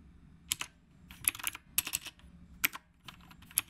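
A retro typewriter-style mechanical keyboard with round plastic keycaps is typed on with the fingertips of both hands. Sharp, bright clicks come in quick bursts and clusters over a faint low hum, each dying away almost at once.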